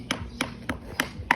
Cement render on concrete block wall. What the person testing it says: relatively sound, good enough for when I put a liner on top